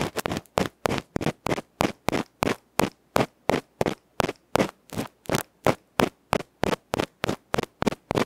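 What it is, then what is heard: Metal microphone capsule being scratched. A bamboo ear pick rapidly scratches the black felt face of a small hollow aluminium electret microphone capsule held in fingertips. About 28 short, bright, broadband scratching bursts come at roughly three per second in a somewhat uneven rhythm, each stopping dead with no ring.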